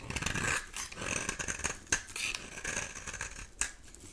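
A solid rectangular bar of dry soap with an olive-green core, held in the hand, is scraped with a metal utility knife blade, shaving off powdery flakes. Repeated dry, bright, crackly scraping strokes are heard, with a couple of sharper crisp snaps standing out near the middle and end.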